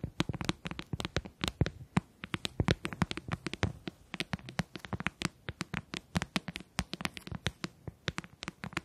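Fingertips and nails tap and click rapidly on the hollow shell of a closed white plastic handheld game console held in both hands. The result is a dense, uneven run of short, dry taps, each with a hollow low knock and a bright plastic click that dies away almost instantly, all at a soft level.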